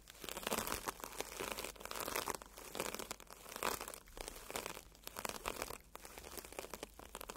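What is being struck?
Porous foam sponge brushed by bristle brushes.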